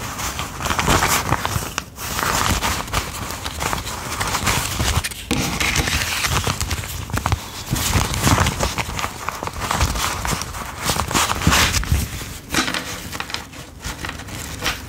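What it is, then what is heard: Paper banknotes being counted. A fan of US $10 paper bills is held in the hands while fingertips flick and separate the bills, counting and rubbing the paper, then square them into a stack. The result is a steady, dense crinkling and crackling rustle with bright papery edges and soft low thumps, with only a few brief dips in loudness.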